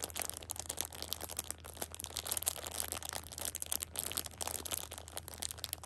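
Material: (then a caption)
Plastic film. A plastic-wrapped six-pack of pocket tissues is held upright in one hand while a thumb with a long pink nail presses and crinkles the plastic film. The result is a dense, bright crackling and crinkling that runs continuously, with a faint steady low hum underneath.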